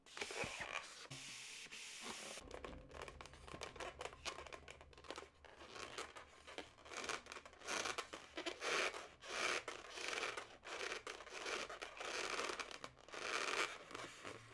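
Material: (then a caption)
Latex. Long natural nails rub and scratch along the surface of a long, inflated yellow latex modelling balloon held horizontally. The result is a bright, irregular run of squeaky, rasping strokes with some crinkly texture, each stroke fading quickly.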